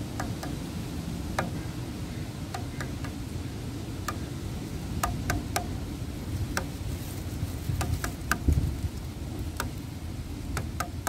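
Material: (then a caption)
Wood. Fingertips and nails tap on weathered, grey, cracked solid wooden bench slats. Short, dry, bright clicks come at irregular intervals and die away almost instantly. A steady low rumble runs beneath them throughout.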